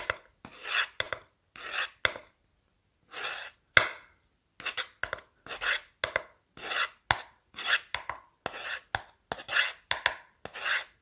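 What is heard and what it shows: The tip of a blue marker is dragged and scratched along the end and face of a light, solid wooden board held upright in one hand. The result is an irregular series of short, dry, raspy scratching strokes with bright hiss, separated by silences and punctuated by a few sharp ticks. There is almost no low end.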